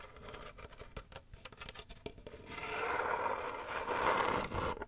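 Fingernails tap and scratch on a medium hollow box with woven wicker sides and a black textured lid, working over the wicker edge and the black surface. Quick, dry, uneven taps fill the first half, then give way to a steadier, louder scratching rasp centred in the upper mids with a bright edge.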